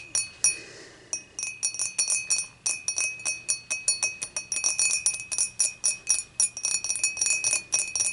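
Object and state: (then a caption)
Glass beer mug. Long matte nails on both hands tap the sides of an empty, upright, clear dimpled glass beer mug in a quick, irregular run of taps. Each tap gives a bright, thin glassy clink with a steady high ring that fades almost at once, with a brief soft scratchy hiss near the start.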